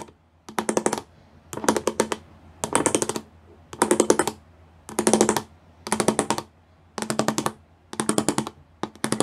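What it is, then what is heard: Studded plastic panel, tapped. Fingertips and nails tap quickly across the bumps of a grey plastic panel with pyramid studs. The sound comes in nine short bursts of rapid, clicky, bright taps, each burst a quick run of tiny hits with a dry, short decay. Quiet pauses separate the bursts.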